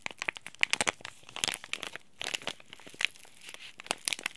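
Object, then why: Laminated plastic-foil tea bag packet. Fingertips crumple and rub a small, flat, green Japanese-printed tea bag packet of laminated plastic-foil film with a tea bag inside. The result is a dense run of bright, high crinkles and sharp little crackles, with short rustling pauses between bursts.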